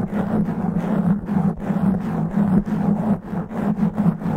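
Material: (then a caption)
Foam. Fingernails scratch fast and rough across the top and sides of a black foam microphone windscreen. The result is a dense, continuous rasping that surges and dips in quick strokes, with a steady low hum near 200 Hz underneath.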